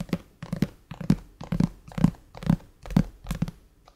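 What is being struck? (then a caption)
Glass tablet screen. Fingertips of both hands tap and drum on the black glass screen of a flat iPad lying on a table. About 14 soft, dull, low thuds land in loose pairs at roughly two per second, each dying out almost instantly, with a faint dry crinkly texture between them.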